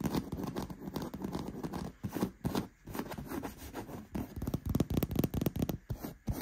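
Fingertips and nails scratch and rub the surface of a black, padded, soft and cushioned faux leather gaming chair seat with stitching. The result is a dense, irregular run of dry scratching and rubbing bursts, heaviest in the low range with little ring after each stroke.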